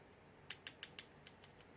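A finished Saberforge Outcast lightsaber hilt with a Proffie pixel install is shaken, and its loose metal shroud rattles because it does not press against the part underneath. Seven short, bright, high-pitched metallic clicks sound in quick succession, each dying away almost instantly. The rattle marks the shroud as loose, needing foam tape to fix.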